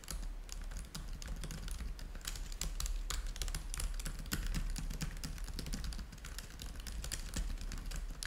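Both hands type fast with their fingertips on the keys of a black plastic laptop keyboard. A dense, steady stream of quick, bright plastic clicks and taps runs over a low, constant hum.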